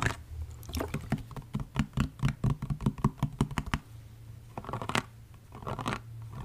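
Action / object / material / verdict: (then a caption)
tap / plastic spray bottle with liquid / plastic / none. An orange, liquid-filled plastic body mist spray bottle, held sideways close up, is tapped and scratched along its body with fingertips and nails. A run of quick, dry, sharp taps builds in the middle, with soft scratching before and after. A steady low hum sits underneath throughout.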